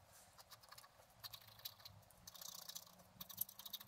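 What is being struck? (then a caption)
Wax-coated scratch-art paper scraped with a wooden stylus. A pointed wooden stylus scratches away the black wax coating of a flat A4-sized scratch-art sheet with colored layers beneath, lying on a table while the other hand holds it. The scratching comes as a quick run of short, dry, bright strokes with a faint low hum underneath. The strokes grow denser and louder toward the end.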